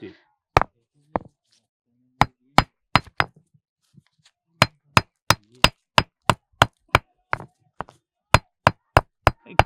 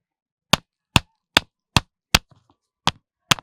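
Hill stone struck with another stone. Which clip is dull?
The second.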